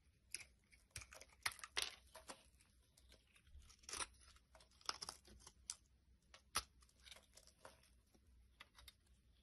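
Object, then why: Bar of soap carved with a blade. A utility blade carves chunks and flakes off a solid pink bar of soap held in the hand. Quiet, crisp scraping and slicing bursts come in an irregular series, each bright and dry with almost no ring or low end.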